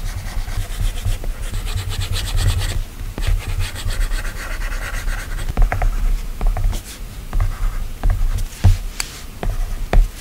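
A plastic stylus tip strokes and taps continuously across the solid, flat glass touchscreen of an iPad while drawing. The result is a soft, steady rubbing and scratching dominated by low rumble, broken by sharp, brief clicks from the taps that die away almost instantly.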